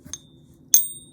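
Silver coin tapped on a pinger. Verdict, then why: Real. A pure silver coin is tapped twice on a pocket pinger: a faint first tap, then a louder one. Each gives a bright, high-pitched ring with tones spread across the upper range that fades quickly. The coin tests as real, with the higher-pitched, somewhat dead ring typical of pure silver, but it still rings.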